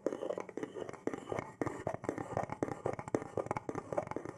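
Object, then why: Small carved wooden box. A small hand-held box of carved wood, which appears hollow, is tapped with fingertips and scratched with nails. The result is a quick, uneven run of soft, dry taps with a hollow midrange tone around 440 Hz, each dying away almost at once. Faint scratching fills the gaps between the taps.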